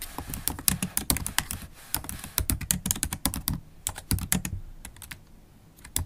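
Long acrylic nails tap the black plastic keys of a MacBook Pro laptop keyboard while typing. Rapid, uneven clicks and taps come in quick bursts with brief pauses. Each tap pairs a low thud with a bright, sharp tick that stops almost instantly.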